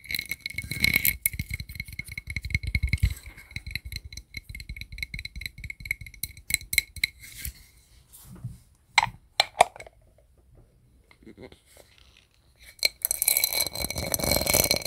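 A round gold metal disc, a lid or coaster with a raised sunburst pattern, is held in one hand while fingertips and nails tap and scratch its embossed face. Rapid, bright clicking taps with a ringing metallic edge fill the first half, thin out into sparse ticks and short pauses, then give way to a dense, hissy scratching at the end.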